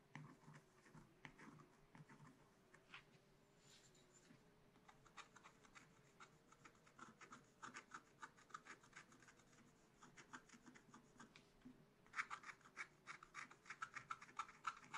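A wooden stylus scratches bird and leaf details into the black coating of a scratch-art card in a spiral book. Quiet, rapid, uneven scraping strokes with a bright, papery grit run over a faint steady low hum. The strokes grow louder and sharper toward the end.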